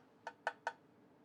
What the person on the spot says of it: it sounds like metal not plastic on the top brushed aluminum